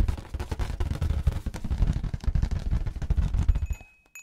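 Fingertips and nails tap and rub the surface of a large, hollow, air-filled orange rubber balloon held in both hands. The result is a dense, rapid run of deep, muffled thumps and booming drum-like taps, almost entirely low in pitch with very short ring. The tapping stops near the end, leaving near-silence broken by a faint thin high tone and a brief final soft touch.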